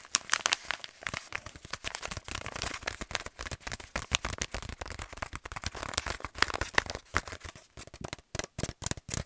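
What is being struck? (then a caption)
Kraft paper stand-up pouch. An empty, hand-sized, hollow resealable kraft paper stand-up pouch is held in both hands and scratched and crinkled with fingertips and short nails. It makes a dense run of quick, bright crackling and crinkling bursts with dry scratchy rasps and no ringing. The sound turns more choppy and separated toward the end.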